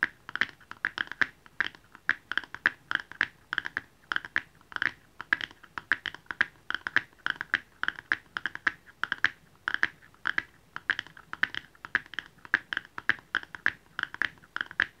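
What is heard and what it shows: A small, hollow red cardboard jewelry box is held in both hands and tapped rapidly on its top with fingernails. The result is a steady stream of short, dry, hollow clicks with a bright papery tone centered around 1.7 kHz and almost no low end. Each tap dies away instantly.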